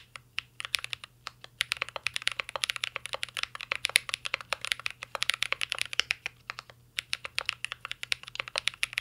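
Fingertips type continuously on a mint-green Cyberboard R3 mechanical keyboard with plastic keycaps and a metal case. Rapid, dry, bright key clicks with almost no ring come in quick bursts, broken by brief pauses, over a faint steady low hum.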